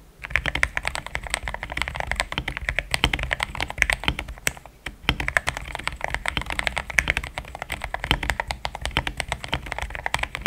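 Fast typing with the fingertips of both hands on a compact pink-white mechanical keyboard with thick plastic XDA keycaps, a polycarbonate plate and linear switches, resting on a desk mat. Dense, quick clacks with short, bright tops and a soft low thud run steadily, with a brief pause just before the five-second mark.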